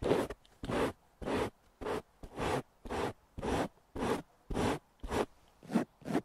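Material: Nylon fabric.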